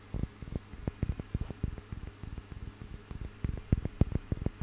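A small, solid, carved and painted wooden piece is held in one hand and tapped and scratched with fingers and nails. It makes soft, dull, low knocks in an uneven patter, each dying away almost instantly, over a faint steady high whine.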